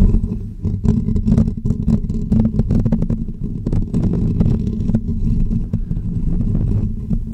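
Short natural fingernails scratch the hollow woven metal mesh grille of a pink condenser microphone, with the fingers wrapped around the dome. The result is a dense, continuous run of close, boomy scratching and rubbing, dominated by low rumbling tones and punctuated by quick brighter scraping bursts.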